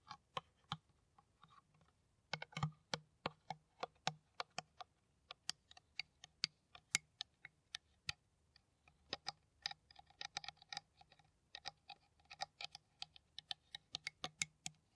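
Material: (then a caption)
PET plastic. An empty, hollow, clear plastic PET water bottle with a white cap is tapped with long nails in rapid, uneven bursts of crisp, bright clicks. Each tap dies away almost instantly, and short pauses separate the clusters of taps.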